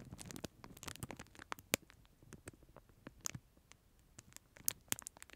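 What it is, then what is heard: Plastic film wrapper around a plastic spoon. Fingertips scratch and crinkle a clear, thin plastic film sleeve wrapped around a disposable plastic spoon, held close to the microphone. Quiet, bright crackles and dry scratching ticks come in quick, uneven bursts, each snapping off almost instantly with no ring.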